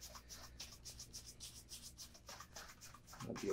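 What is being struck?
Leather shoe brushed with a bristle shoe brush.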